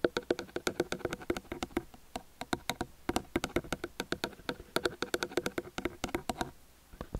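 Fingertips and nails of both hands rapidly tap the two capsules of a small metal stereo microphone on a white stand. The result is a dense run of short, dry, close knocks with a mid-range body and bright clicky edges, in uneven bursts with brief pauses, fading out near the end.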